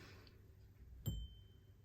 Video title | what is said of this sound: How To Identify Lead Crystal Glass | you hear that nice ringing sound